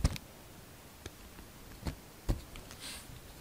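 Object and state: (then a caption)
Glycerin soap being carved. A solid translucent red glycerin soap bar is held in the hand and carved with a utility-knife blade, peeling off thin shavings. Quiet, low, dull clicks and brief scrapes come at uneven intervals, with a soft high hiss near the end.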